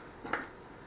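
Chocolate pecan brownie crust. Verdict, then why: Baked. After 20 minutes in the oven, the top of a chocolate pecan brownie is pressed or tapped, giving one short, dry crackle of the crust against a quiet background. The brownie is cooked through in the middle and perfect.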